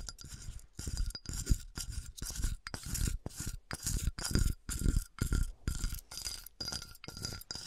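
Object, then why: Flattened glass bottle with textured surface. A flattened, melted, empty clear glass wine bottle with a textured, dotted surface is held and tilted by hand while long nails scratch and tap its textured side and base. Short bursts of bright, gritty scratching repeat about twice a second, with low thumps from the taps beneath them and a faint steady high glassy tone throughout.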